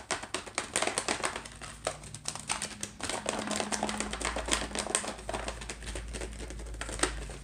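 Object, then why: Small closed cardboard box. Long acrylic nails rapidly tap and scratch the top and sides of a small, closed cardboard box of Wild Blend rice, likely full, standing upright on a wooden tray. The result is a quick, dense stream of dry, bright clicks with brief scratchy rasps between them, over a faint low hum.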